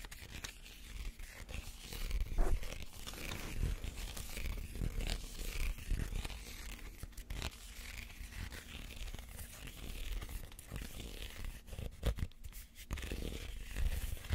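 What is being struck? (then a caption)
Woven reed basket. A small, empty woven reed basket is held sideways while fingernails scratch across its weave. The result is a continuous dry, rasping scratch with bright crackle and irregular soft, low bumps, rising and falling in loudness over about fourteen seconds.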